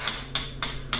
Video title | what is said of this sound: How To Tile like a Pro | when you hear that sound it's a solid it's a solid sound